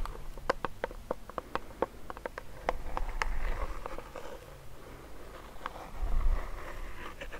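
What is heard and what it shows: A medium clear plastic hand sanitizer pump bottle filled with clear gel is tapped and scratched with fingernails and fingertips. Quick, dry clicks come in an uneven patter, with softer scratching rustle in between over a low, dull background rumble.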